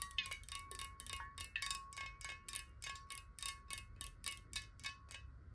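Long nails tap fast on a clear glass water bottle, hollow and partly filled with water and held horizontally. The result is a rapid, slightly uneven run of bright, chime-like clicks over a steady, faint glassy ring near 1.1 kHz and a soft low rumble.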